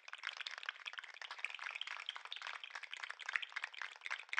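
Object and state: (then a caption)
Plastic articulated lobster toy. A green and white articulated plastic lobster toy is held up by its claws and shaken and wiggled by hand, its segments clacking against each other. The result is a dense, continuous patter of quick, dry plastic clicks, bright and thin with no low end.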